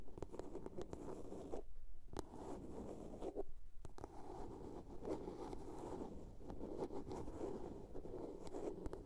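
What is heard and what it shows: Long nails scratch along the sides and lid of a small, hollow blue plastic box, making a dense, dry, raspy scraping with a low-mid body. Scattered sharp clicks cut through, and the scratching stops briefly twice near the two- and four-second marks before carrying on steadily.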